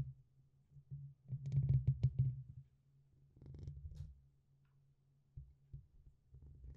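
Fingertips and nails tap and scratch the top and side of the black, hollow metal mesh grille on a red USB condenser microphone. The result is deep, muffled thumps and rumbling scratches, loudest in a dense cluster early on, followed by a softer scratching patch and a few scattered taps.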